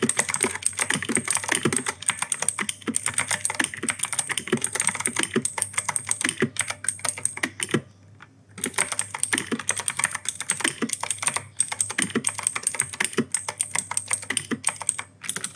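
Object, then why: Mechanical keyboard with plastic keycaps. Fingertips type rapidly on an E-Yooso K-620 mechanical keyboard with clicky Outemu Blue switches and plastic keycaps, producing a dense stream of sharp, bright clicks with short dull thocks underneath. The typing pauses briefly near the middle, then resumes at the same fast pace.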